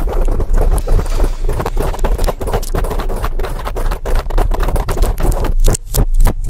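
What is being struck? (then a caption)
Foam microphone windscreen. Long acrylic nails scratch quickly over a large black foam windscreen on a microphone. The result is a dense, continuous run of fast rough scrapes with a heavy low rumble and bright crackly edges. There are a few brief dips between strokes.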